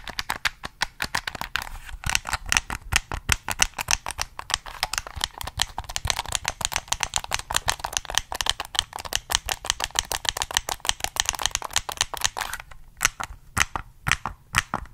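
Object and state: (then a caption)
Plastic game controller. Fingertips press the buttons and tap the shell of a black hollow plastic Sony PS3 gamepad held close to the mic. About 80 quick, dry, bright clicks and taps come in a dense, uneven stream, each dying away almost instantly. The taps thin out and spread apart over the last couple of seconds.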